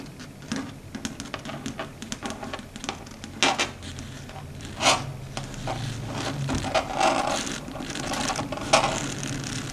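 Long red stiletto nail tips patter and tap rapidly on a flat, dark grey matte chalkboard, a solid board. The result is a steady run of light, bright clicks with a few sharper taps and some soft scraping over a faint low hum.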